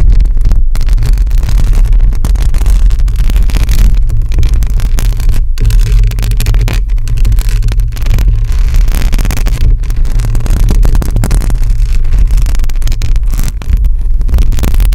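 Long acrylic nails scratch a hollow metal mesh microphone grille with both hands on it. The result is a loud, steady, deep rumbling scrape, with almost all of the sound sitting in the low bass around 59 Hz and dense, unbroken friction throughout.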